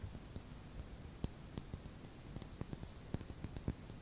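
Medium manicured fingernails tap and clink on the exposed glazed spout of a medium, hollow white ceramic teapot wrapped in a grey knitted wool cozy that leaves only the spout and handle uncovered; the pot is then held in both hands. The result is a quiet series of sharp, very short clinks with a bright, high glassy ring and soft low thumps underneath, each dying away almost instantly.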